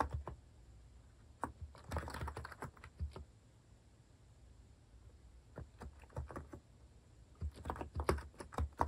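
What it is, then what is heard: Plastic mechanical keyboard being typed on. Fingertips type steadily on a compact white plastic Hanmumu mechanical keyboard with cat keycaps. Short, dry key clacks with a low, thumpy body come in quick bursts separated by brief quiet pauses.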